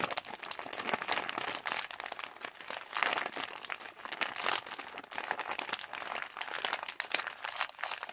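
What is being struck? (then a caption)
Partly filled plastic candy pouch. A partly filled yellow Halls plastic candy pouch is scrunched and crinkled by fingers while fingertips scratch across the plastic. The result is a continuous, dense stream of crisp, bright crackles with almost no low end, rising and falling in short bursts over about eight seconds.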